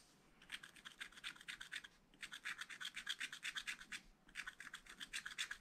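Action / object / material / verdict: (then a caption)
scrape / coated scratch-art paper scraped with a wooden stylus / coated paper / none. A wooden stylus rubs and scratches the coating off a black coated scratch-art paper page in a spiral pad. Quick, bright, rasping strokes come in three bursts separated by short pauses, with little low end.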